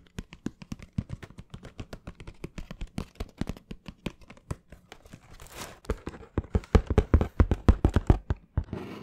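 Fingernails scratch across the surface of a hollow, closed brown cardboard shoe box held in both hands close to the microphone. Quick, dry scratching strokes come in a rapid, uneven series with a hollow, low thud to each one, and a brief hissy rustle in the middle. The strokes grow louder and denser toward the end.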